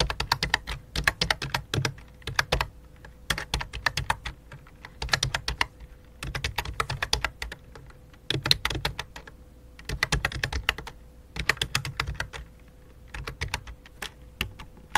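Fingertips with dark nails type on a full-size white and light-blue plastic computer keyboard with a hollow plastic body. Quick bursts of sharp, bright clicking keystrokes with dull low thumps alternate with short pauses. A faint steady hum runs underneath.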